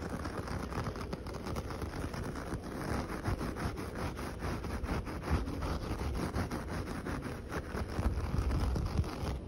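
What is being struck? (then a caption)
Coconut-fibre doormat. Short fingernails and fingertips scratch back and forth across the bristly fibres of a flat, solid coconut-fibre (coir) doormat with dyed rainbow stripes lying on the ground. The result is a steady, dense, low rustling scrape with repeated short strokes and a faint brighter hiss on top.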